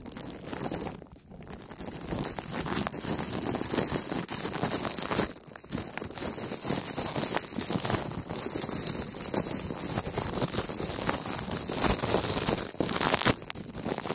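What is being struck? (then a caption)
Thin plastic cling film. Fingertips press and crumple thin clear plastic cling film wrapped over a pair of silicone ear-shaped binaural microphones. A dense, steady crinkling and rustling fills the clip, with brief quieter pauses near 1, 5.5 and 14 seconds.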